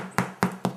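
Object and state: Baked-through soda bread (hollow).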